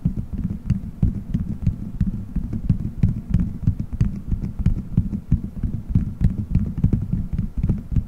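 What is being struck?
Gelatin gummy bears stuck on a microphone head.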